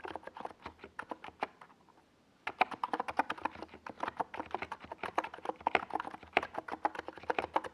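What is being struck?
Plastic mechanical keyboard.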